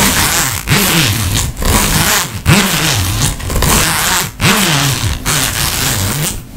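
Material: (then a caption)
Fabric. Fingernails scratch along the zipper and tapestry fabric of a fabric makeup pouch, with some handling of the zipper. Repeated bright, raspy scraping strokes are separated by brief pauses, with a low whooshing tone that sweeps up and down under each stroke.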